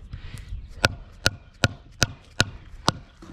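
A pool coping stone set on a bead of mortar is tapped six times with a mallet to seat it during installation. Each short, sharp knock rings briefly with a bright tone, and the taps confirm the stone is making contact with the mortar bed.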